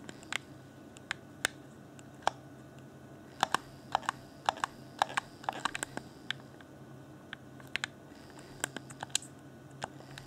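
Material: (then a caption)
Plastic. Fingertips tap and click the top edge and buttons of a hollow, transparent plastic Xbox One Afterglow controller in close-up. Around thirty sharp, dry clicks and taps come in irregular bursts, each ending instantly with no ring. Beneath them runs a faint steady low hum and hiss.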